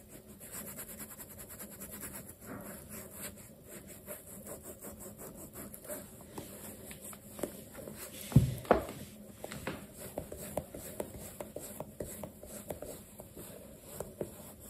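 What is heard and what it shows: A black leather sneaker, stuffed with a cloth and held by hand, has its toe and side buffed with a dark cloth over the fingertips in a steady rubbing action. Quiet, soft swishing strokes repeat over a faint steady hum, with one louder bump about halfway through.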